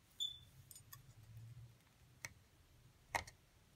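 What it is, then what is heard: Plaster dig block being scraped. A thin metal seafood pick, held in long-nailed fingers, scratches and chips into a solid, palm-sized rectangular white plaster (gypsum) dig block with a small mummy figure partly exposed in the middle. Sparse, sharp, bright ticks and clicks stand out over a faint low hum and soft scraping, and crumbs fall around the pick.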